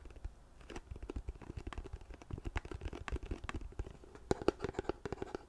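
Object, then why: Plastic lotion pump bottle. A large white plastic CeraVe lotion bottle with a blue pump, hollow-sounding and apparently full, is held in both hands and tapped with long painted nails. Quick, dull, low taps and light clicks come in a steady, uneven stream, with a hollow resonance around 370 Hz and a brief louder flurry near the end.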